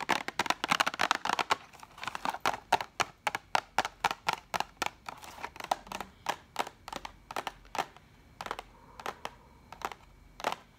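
A hollow, orange printed cardboard box of Bic pens with pens inside is tapped and scratched with long nails. Many quick, dry, papery taps and scratches follow in a dense flurry, then slow to spaced single taps, each a short bright click centered in the mids with almost no ring.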